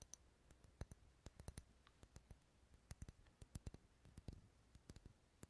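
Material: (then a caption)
Wax. Fingernails tap and scratch the textured side of a large, dark red, solid wax pillar candle held unlit in the hand. About two dozen quiet, sharp, dry clicks come in an uneven rhythm, each with a bright tick and a soft low thud that dies almost instantly. Faint scratchy rustling fills the gaps between the taps.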